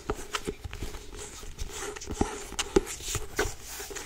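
Long acrylic nails and fingertips tap and grip the cover of a solid, medium grey-blue cloth-covered hardcover book held in the hands. Short, dull knocks centred near 390 Hz come with bright nail clicks and a soft scratchy rustle between them. Each tap dies away almost at once.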